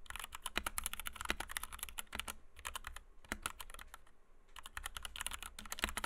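A compact white 60% Kemove DK61 mechanical keyboard with Gateron Red switches, PBT doubleshot keycaps and a plastic case rests on a desk mat while the fingertips of both hands type rapidly on it. Dense runs of short, sharp, bright clacks with a low thocky body are heard, easing into a softer, sparser stretch in the middle before the fast typing picks back up.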